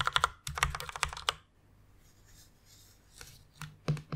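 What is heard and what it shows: Fast typing with fingertips and long nails on a white plastic rainbow mechanical keyboard produces a dense burst of sharp, bright clacks with a low thump under each keystroke. A near-silent pause follows before a few scattered, louder key clicks return at the end.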